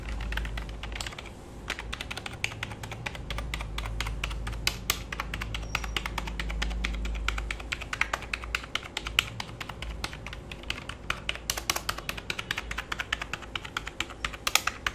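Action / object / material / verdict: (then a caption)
tap / plastic computer keyboard / plastic / none. A black full-size plastic computer keyboard, held at an angle on a lap, is typed on and scratched across with fingertips and nails. Rapid, sharp, bright clicks and taps come in dense, uneven bursts, over a low rumble that swells through the first half before fading.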